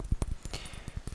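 Fingernails tap a quick series of light, dull clicks on an empty, finished 100 ml diamond-shaped orange glass Tommy Bahama cologne bottle. Each tap is short and low, dying away almost instantly with no ring.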